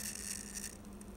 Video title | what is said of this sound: Natural Yeast | you can hear it leaking out from there